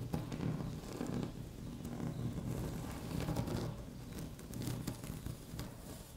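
Long natural fingernails of both hands tap and scratch lightly on a flat, solid, speckled beige laminate tabletop. The result is a quiet, steady stream of soft, low, dull taps layered with faint crackly scratching and occasional brighter ticks.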